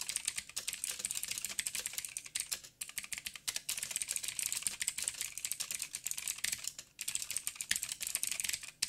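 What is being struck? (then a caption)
Mechanical keyboard with plastic keycaps. Fingertips of both hands type fast on a full-size backlit mechanical keyboard with blue switches, black plastic keycaps, a silver frame and a hollow housing. The result is a dense stream of sharp, bright clicks and clacks with almost no low end, each dying away instantly, broken by brief pauses near 2.7 and 6.9 seconds.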